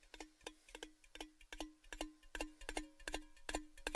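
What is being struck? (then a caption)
Cylindrical metal tin. A tall, orange-red, hollow, empty metal Baileys gift tin, held upside down, is tapped with fingertips and nails in an irregular, fairly quick run of ticking taps. Each tap gives a short, bright click over a brief ringing tone around 300 Hz that dies away almost at once.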